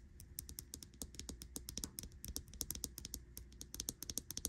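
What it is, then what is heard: Smartwatch with metal case and glass screen. Long nails tap rapidly on the glass screen and metal case edge of a smartwatch with a butterfly-print silicone band, lying on a bedsheet. The result is a quick, continuous run of short, bright clicks with a faint low hum underneath.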